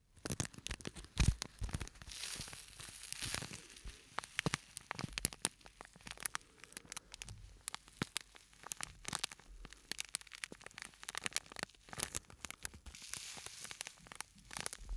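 A small, flat, purple-and-white printed plastic scent sachet with a sandy filling is held in both hands close to the microphone and rubbed, squeezed and crinkled with the fingers. Dense, bright crinkling and crackling runs throughout, with sharp rustling bursts over a faint low rumble.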